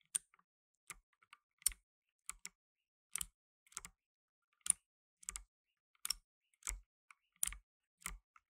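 Blue nitrile-gloved fingertips type on a black tenkeyless mechanical keyboard with plastic keycaps. About fifteen sharp, bright clicks come at an uneven pace, some with a soft low thud underneath. Each click stops almost instantly, with quiet gaps between presses.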